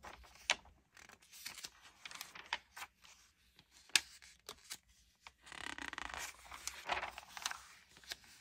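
Fingertips with dark-painted nails rub, smooth and turn the thin pages of an open glossy paper Allure magazine, March 2022 issue, lying flat on a wooden table. The result is quiet, bright papery rustling and sliding, broken by sharp crinkly snaps as pages flip, with a longer stretch of steady smoothing near the end.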